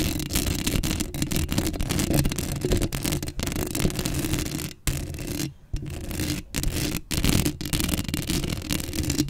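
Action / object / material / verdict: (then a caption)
scrape / metal mesh microphone grille / metal mesh / none. Long acrylic nails scratch the black metal mesh grille of a Blue Yeti microphone. The result is a dense, continuous rasping and scraping, heavy in low rumble with a fainter bright hiss, broken by a few brief pauses.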